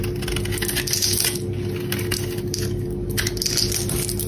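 A metal box-cutter blade shaves curly flakes off a palm-sized, solid, translucent brown bar of dry soap with an oval embossed logo, held in a hand with long black nails. The result is a continuous crisp, crackly scraping with brighter crunchy bursts as the flakes peel away, over a steady low hum.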